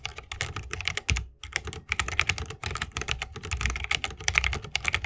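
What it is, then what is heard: Mechanical keyboard with plastic keycaps in a wooden case. Fast typing with the fingertips of both hands on a 60% mechanical keyboard with plastic keycaps on tactile switches, set in a solid bamboo wooden case with RGB lighting and resting on a wrist rest. A dense run of bright, short key clacks comes with a low thock beneath, broken by a few brief pauses.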